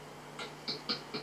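A small plastic Sandman figurine of Pumpkinhead is tapped against a desk four times, giving short, bright clicks with a quick decay over a low steady hum.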